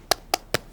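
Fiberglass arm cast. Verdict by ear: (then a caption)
Set. Three short, dry taps on a blue fiberglass arm cast, each a crisp knock with no ring, checking whether the cast has set. The knocks sound like knocking on a door, showing the cast is dry and hard.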